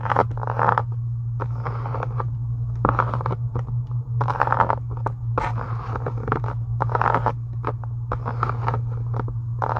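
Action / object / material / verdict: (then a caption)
scrape / faux leather journal cover / faux leather / none. Long acrylic nails scratch and tap near the top of a closed, pink embossed faux leather journal cover resting on a desk. Dry, scratchy bursts of mid-range texture come in quick, irregular clusters, each dying away almost at once, over a steady low hum that runs throughout.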